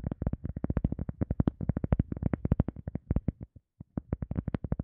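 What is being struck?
EVA foam sponge.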